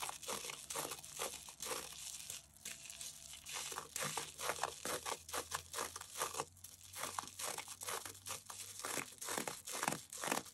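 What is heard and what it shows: A rectangular, porous, soft, damp yellow cellulose kitchen sponge smeared with white toothpaste foam is held over a yellow bowl and scratched and rubbed with the foam-covered fingertips of both hands. A steady run of wet crinkling, squishing, and tearing-like scrapes is heard, with bright, hissy bursts in rapid, uneven succession throughout.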